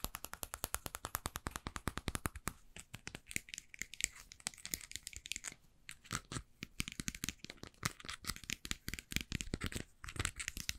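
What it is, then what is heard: Plastic spray bottle. A small, hollow light-blue plastic spray bottle with a white pump head, which appears to hold liquid, is held in hand and tapped and scratched with long painted nails. Rapid, sharp, dry clicks run in a dense stream, with bright scratchy passages and a brief quieter stretch midway. Each tap dies away almost instantly with no ring.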